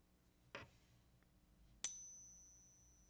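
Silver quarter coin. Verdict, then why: Real. A 1964 silver quarter is tapped twice with a wooden stick: a dull click first, then a sharp ping that leaves a high, steady ring fading slowly over more than a second. The coin is judged to be real silver.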